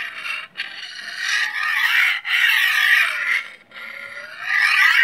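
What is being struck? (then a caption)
Steel chef's knife scraped along a steel honing rod. A large solid steel chef's knife, held at an angle, has its blade scraped repeatedly along a steel honing rod. Long, bright metallic rasping strokes with gliding pitch sweeps are separated by brief gaps.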